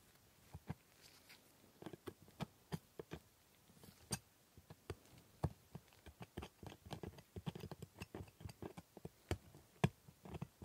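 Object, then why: Plastic dental model teeth and steel scaler tip. The tip of a steel scaler scrapes and ticks against the hard plastic teeth of a dental model. Quiet, sharp, dry clicks and brief scraping taps come in an irregular stream, growing denser and busier in the second half, with each tick dying away almost instantly.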